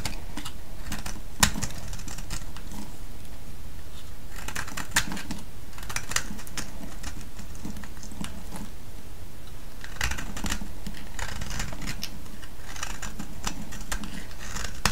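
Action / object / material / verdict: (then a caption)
scrape / bar of soap shaved with a metal blade / soap / none. A solid orange soap bar held in the hand is shaved with a metal blade, and flakes crack off in dense bursts of crisp, bright scraping and clicking. The shaving comes in clusters with short pauses between them, over a steady low rumble.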